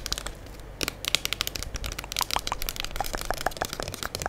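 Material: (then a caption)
Plastic. A full gold Diva plastic liquid soap pump bottle is held in both hands while long acrylic nails tap and scratch its front and sides. Quick, bright, sharp taps mix with dry, crinkly scratching over a low background rumble, with each tap dying away almost instantly.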